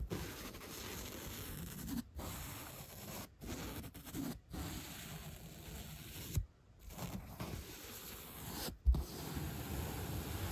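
A bottle brush with a black tip and white bristles is brushed and scratched across the surface of a 3-inch solid white upholstery foam block. The result is a steady, soft, low-heavy rustling scrape, broken by brief silent pauses and a couple of sharper bumps.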